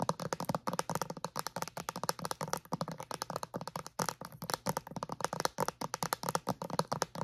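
Long acrylic nails tap and scratch on a clear plastic bottle with a white cap, wrapped in crinkly plastic film. A fast, steady stream of short, dry clicks and crinkles fills the whole clip, each one crisp and bright with almost no ring.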